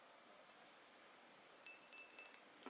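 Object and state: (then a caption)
Glass perfume bottle. A fingernail taps a glass perfume bottle: after two faint ticks, a quick run of about eight bright, sharp clinks rings out. Each tap is short and high-pitched, dying away almost at once against a quiet background.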